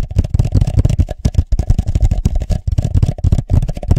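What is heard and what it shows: A hollow red plastic party cup is held over the microphone, tapped on its sides with the fingertips and briefly tilted. A rapid, uneven series of soft, hollow, close-up thuds is heard, deep and boomy, with very short decay and a faint rustle between taps.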